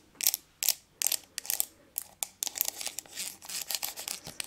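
Long nails tap and scratch the lid and sides of a small round silver aluminium tin with a lid, held in one hand close to the microphone. Crisp, bright, quiet clicks come in spaced bursts at first, then run together into a denser, uneven stream of tapping and scratching. Each sound is very short, with almost no ring.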